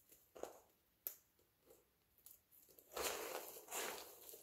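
A pile of multicolored dry soap flakes is pressed flat with the palms and crumbled between the fingertips. Short, dry crunches and crackles with bright high-frequency hiss open the clip, then build into two longer, louder crushing passes toward the end.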